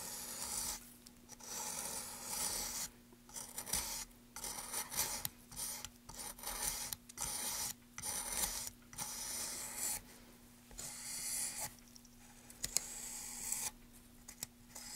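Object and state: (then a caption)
Wooden plank being rasped. A gloved hand rasps and scrapes a tool along the carved grooves of a solid, light wood plank. Bursts of bright, hissy rasping strokes alternate with short pauses, over a faint steady low hum.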